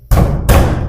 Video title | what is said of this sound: 3 5 Marla House on easy installment in Lahore - Low Price House on installment 2024 | आवाज से पता चल जाता है, जो अंदर से खोखले होते हैं ना, बिल्कुल ऐसी आवाज डिफरेंट होती है